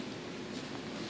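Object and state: Nothing is struck.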